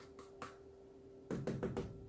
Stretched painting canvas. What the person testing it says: this canvas as tight as a drum that's what happens when you get good quality canvases